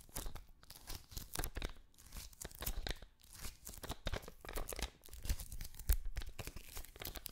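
An adhesive paper lint roller with a green end cap is held close while fingertips and nails tap on and press its sticky paper roll. Dense bursts of crackly tearing and crinkling come from the tacky surface, each pull-off short and sharp with a low thump underneath, repeating irregularly throughout.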